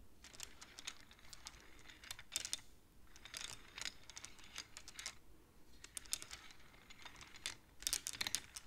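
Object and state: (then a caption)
Wooden abacus beads clicking. Fingertips and long nails slide the painted wooden beads of a wooden abacus along its rods, making them click. The clip is a quiet series of quick, dry, bright clicks in irregular bursts, each dying away almost instantly, with soft sliding scrapes between them.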